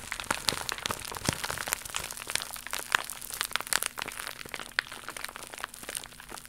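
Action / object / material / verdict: scrape / plastic mailer pouch / plastic / none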